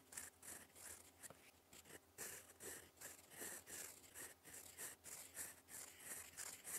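A gold fountain pen nib writes in black ink across a flat sheet of lined cream paper, scratching out cursive strokes. Quiet, bright, papery scratches come in quick, uneven bursts with short pauses between strokes, each fading almost at once.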